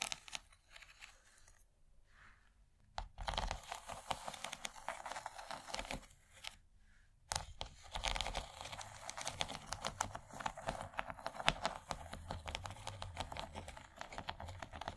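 Long nails quickly tap and scratch the textured corn ridges of an empty, rigid yellow plastic corn-shaped serving tray, first with one hand and then with both. The sound is a dense, bright clatter of clicks and crinkly scrapes, broken by two brief quiet pauses before the tapping resumes more fully.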